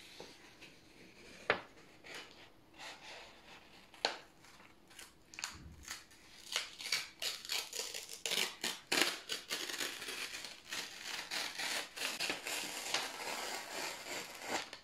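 A stack of thin white printed office paper sheets is slowly torn apart with both hands. Bright, crackling rips start sparse and isolated, then grow denser and more continuous in the second half, each tear breaking off quickly with little ring.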